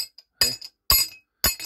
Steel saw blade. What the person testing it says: Regardez l'acier. C'est des bons aciers.